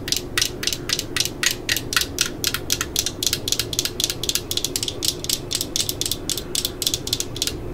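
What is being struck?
Plastic power-tool battery pack.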